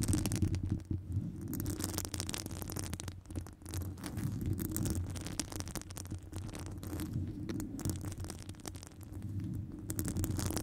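Long nails on one hand scratch and tap the side of a hollow metal wire-mesh microphone grille. The result is a dense, irregular rustle of scraping and quick clicks over a deep, throbbing low rumble, with brief bright ticks cutting through.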